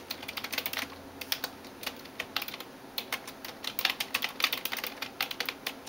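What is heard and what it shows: A hand types in rapid taps with fingertips and nails on the keys of a backlit plastic computer keyboard. Bright, short clicks arrive in quick irregular bursts separated by brief pauses, with almost no low end and each tap dying away almost instantly.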